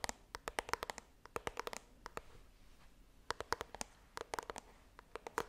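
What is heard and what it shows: Long dark green nails tap and scratch the glossy front face of a small white printed cardboard iPhone box held upright close to the microphone, its contents not visible. Around 29 quick, crisp clicks come in uneven clusters, each dying almost instantly, with a papery mid tone near 970 Hz and a bright edge. Brief soft scratching fills the pause in the middle.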